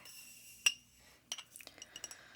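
A glass scotch whisky bottle, a Glenmorangie Original, is tapped, giving a clear, bright glass clink. One sharp tap is followed after a pause by a quicker run of lighter taps, each with a ringing tone near 2.8 kHz that dies away almost at once.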